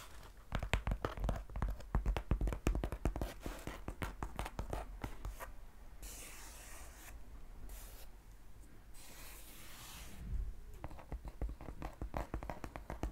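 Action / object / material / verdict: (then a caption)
tap / cardboard shipping box / cardboard / none. Long painted nails tap and scratch the flat side of a hollow, medium brown Amazon cardboard shipping box held upright in one hand. Quick, uneven runs of dull, hollow taps with a deep low thump open the clip and return near the end. In between are stretches of bright, dry scratching across the cardboard.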